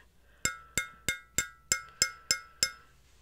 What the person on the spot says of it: can you hear that it's metal